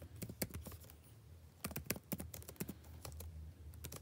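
Fingertips type continuously on a backlit laptop keyboard with plastic keys, producing a quick, irregular run of short, crisp clicks with bright tops that stop almost instantly. A steady low hum sits underneath the taps throughout.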